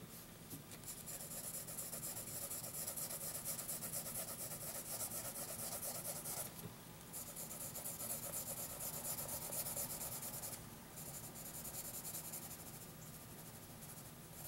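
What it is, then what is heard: Pencil drawing on a paper sheet. A wooden graphite pencil draws and shades on a thin lined paper notebook sheet lying flat on a hard surface. The result is a steady, bright scratching and rubbing that pauses briefly twice before continuing.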